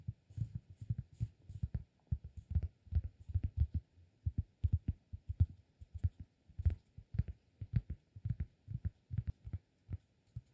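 A round, flat, solid cork disk is held in one hand and tapped and scratched with the fingertips of the other. Quick, irregular bursts of soft, dull, low thuds stop almost instantly, with a faint bright scratchy rustle over some of the taps.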